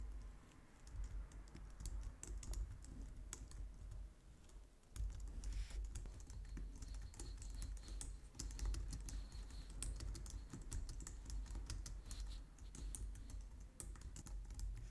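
Both hands type on a white plastic low-profile wireless keyboard, striking the keys with long painted nails and fingertips. A steady, quiet stream of rapid clicks and taps runs throughout, with bright clacks over a soft, low thud, and a brief lull just before the five-second mark.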